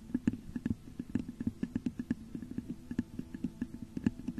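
Long nails scratch and tap the top of a hollow, textured clear glass vase turned upside down over a microphone. A quick, uneven series of soft, hollow taps rises over a low resonant hum, with faint scratching between them.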